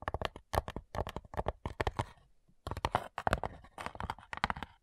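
Long nails tap rapidly on the lid of a flat, light, hollow wooden cigar box, about 22 short, dry clicks in quick clusters with a brief pause near the middle. Each tap is a hollow knock centred around 740 Hz with a woody low thump beneath it and almost no ring.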